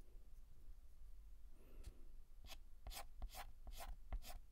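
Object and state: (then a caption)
Chalk writing on a blackboard. A stick of white chalk scratches and rubs across a large, flat, painted black chalkboard as a hand writes and shades. After a soft start, brief, bright, gritty strokes come in quick succession over a quiet low hum.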